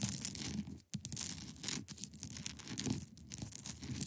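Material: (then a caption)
Ice. A large, solid, clear ice block resting on a fabric surface is scratched across its top with long pointed nails. The result is a dense, continuous rasping with a bright, high hiss and a low grainy rumble, broken by a brief silence just before the one-second mark and short dips near two and three seconds.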